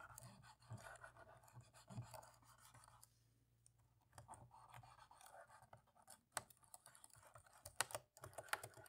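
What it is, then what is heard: Plastic laptop keyboard. A cotton swab scrubs between the black plastic keys of a dirty laptop keyboard, making soft, quiet scratchy rubbing in uneven bursts with a brief pause partway through. Sharp, bright little clicks and ticks from the keys cut through near the end, over a faint steady low hum.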